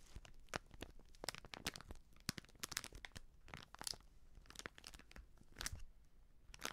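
A small plastic/foil sachet of baking soda, with sealed crimped edges and filled with powder, is crinkled and scratched with fingertips and nails. Sharp, bright crinkles and scratchy crunches come in quick, irregular bursts with no ringing, over a quiet background.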